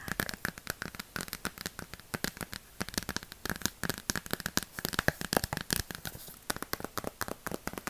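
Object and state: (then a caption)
Cardboard board book tapped with nails. A small, solid hardcover cardboard board book ("Miss Mary Mack"), held in the hands, is tapped rapidly with long plastic fake witch nails for 8 seconds. The sharp, dry clicks have almost no ring and come with a faint crackly rustle between them.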